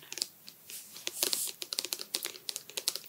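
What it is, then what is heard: Plastic conditioner bottle tapped with fingernails. Fingernails tap the plastic sides of a medium white OUAI conditioner bottle, hollow and apparently filled with product, held near the face. Quick, bright, sharp clicks come in uneven bursts, with a soft crinkly rustle in between. Each tap is crisp and dies away quickly.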